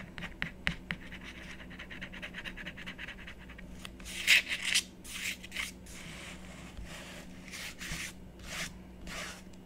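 A blue plastic-handled stylus scratches across a flat, notebook-sized black-coated scratch art board lying on a wooden table, with long-nailed fingers resting on the board. Short, sharp scratches and ticks open the clip, then longer, louder bright rasping strokes swell in the middle and settle into softer, steady scratching over a faint low hum.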